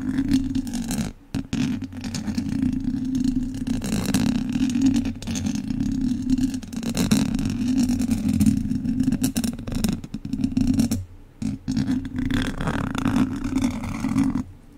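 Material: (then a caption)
Metal mesh. The tip of a single wooden chopstick scratches vertically up and down the front of a hollow metal mesh microphone grille. It makes a steady, dense, rustling scrape with a strong low-mid body around 200 Hz. The scraping is nearly continuous, with brief pauses near 1 second, 11 seconds and just before the end.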